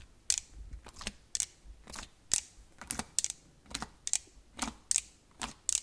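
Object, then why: Sheet of slime pressed with a plastic prong claw. A plastic multi-prong scalp-massager claw is pressed into and pulled out of a flat sheet of glossy black metallic slime again and again, leaving dimples in the surface. Each pull makes a short, sticky pop with a bright, crackly hiss and almost no low end. The result is an irregular run of quick, soft popping sounds.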